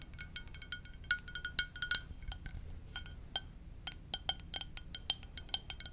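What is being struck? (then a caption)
Ceramic mug. Long nails tap the side of a hollow blue and white ceramic mug shaped like a VW bus, held up, in a quick, uneven run of light taps. Each tap gives a bright, glassy clink with a very short ring and almost no low end.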